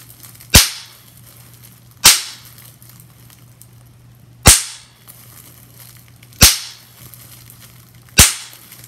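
Bubbles on a large clear sheet of plastic bubble wrap, held close, are pinched and popped one at a time with long-nailed fingers. Five sharp, bright pops sound out at irregular intervals, each snapping and dying away within a fraction of a second. Between them there is only a faint steady low hum.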